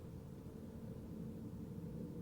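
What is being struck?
Nothing is struck.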